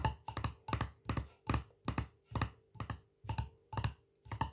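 Fingertips and nails tap the black metal screw lid and the glass side of a small, full glass jar of Colman's mint sauce with a paper label. The result is a steady run of quick, dull thunky taps, often in close pairs, each with a brief bright click and almost no ring. A faint steady low hum sits underneath.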